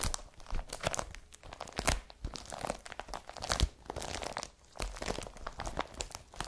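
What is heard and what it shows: A blue IKEA BRATTBY woven polypropylene carrier bag lies flat and empty while long fingernails scratch across it. The result is a dense run of dry, crinkly scratches and crunches, with sharp, bright taps scattered throughout.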